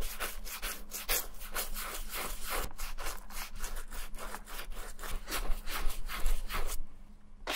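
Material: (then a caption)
Leather. A small wooden-handled bristle brush scrubs white cream into the smooth, dark leather toe and heel of an empty ankle boot. It makes a steady run of brisk, scratchy rubbing strokes with a bright, hissy texture and a faint low hum underneath. The strokes grow a little louder near the end before they stop and fade out.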